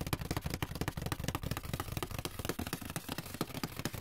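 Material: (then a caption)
Cardboard. Fingertips and nails scratch and rub the inside bottom of an open, empty white paperboard box with a brown inner bottom. The result is a dense, steady run of quick, dry scratches and rubs with a hollow, low-heavy body and short, unringing attacks.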